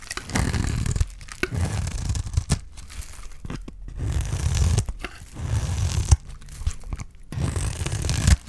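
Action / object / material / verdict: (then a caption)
scrape / bar of soap / soap / none. A utility knife blade scrapes along the face of a solid bar of dry green soap, peeling off shavings. Repeated low, rough, crunchy tearing strokes are broken by short pauses and sharp clicks as the blade catches and lifts away.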